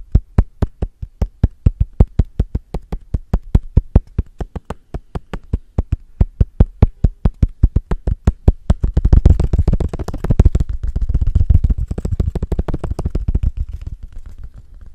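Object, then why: Small cork coaster. Fingertips and short nails tap and knock quickly on the surface of a small, flat, square, solid cork coaster held in front of the microphone. The first nine seconds are evenly spaced, dull, low thuds with almost no ring; then the tapping speeds up into a dense, fuller flurry that trails off toward the end.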